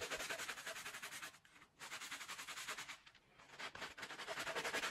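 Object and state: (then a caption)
Wet wool rug being scrubbed. A handheld plastic bristle brush scrubs a small, wet Persian-style rug of woven wool pile on a soapy floor, working along the fringe and the body. Quick, bright, hissing scrub strokes repeat in a steady rhythm, broken by two brief quieter pauses before the scrubbing resumes at full level.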